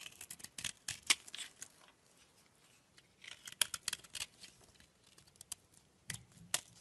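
A utility knife blade scrapes and chips flakes off a solid oval peach-colored bar of soap held in the hand. Quick, crisp, bright scraping and clicking strokes come in bursts, with a quiet pause in the middle before the cutting resumes. Each stroke is dry and short with no ring after it.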